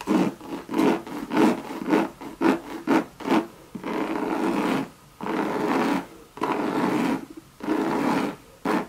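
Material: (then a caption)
Coated canvas. Long, sharp red nails rub and scratch the surface of a Louis Vuitton Monogram coated canvas bucket bag with leather trim. A quick run of short, raspy scratching strokes gives way to longer, steady rubbing passes separated by brief pauses. The sound is dry and scratchy, with little deep or bright content.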